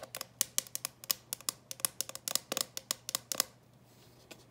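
Long nails tap and scratch across the closed lid of a clear plastic coffin-shaped box full of candies. About 19 sharp, bright clicks come in a quick, uneven run over three and a half seconds, each dying away almost at once. A short quiet follows, then one last faint tap.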